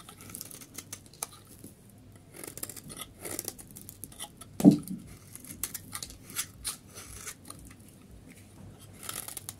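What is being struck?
Soap bar shaved with a knife blade.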